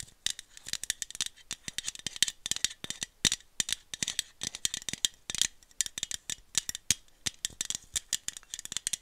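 A small aluminum iced-coffee bottle with a printed label is tapped with long nails and shaken close to the mic. It gives a steady stream of quick, dry, bright clicks and rattles with almost no low end and no ring.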